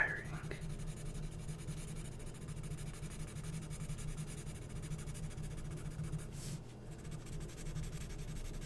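A felt-tip marker is scribbled and rubbed repeatedly over large letters on a glossy printed magazine page or ad of thin coated paper lying flat, filling them in. The result is a steady, soft, scratchy rubbing over a low hum, with a brief brighter swipe near the end.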